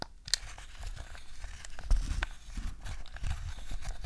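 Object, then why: Hard plastic game controller. A black hard-plastic DualShock 2 PlayStation 2 controller, hollow and wired, is held on a fluffy rug while long nails tap its analog sticks, face buttons and plastic shell. The taps come as quick, dry, low clicks with a crinkly rustle, with several distinct sharper hits standing out, each dying away at once.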